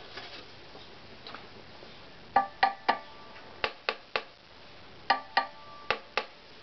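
An assembled, hollow, lightly varnished wooden violin body lying on a bench is tapped with a small wooden stick. Two faint taps are followed by ten sharp, dry knocks in small groups, each a bright wooden tock centred near 800 Hz. The knocks fade almost at once.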